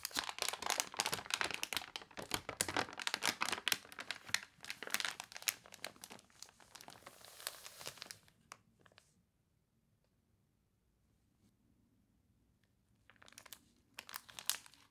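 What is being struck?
Glossy paper catalog page.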